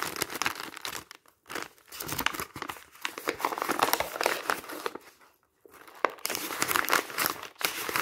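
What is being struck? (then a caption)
Thin printed paper magazine pages. A stack of thin printed paper magazine pages is squeezed and crumpled by fingertips and hands on top of magazines. Dense, bright crinkling and crackling comes in bursts broken by brief silent gaps, with almost no low end.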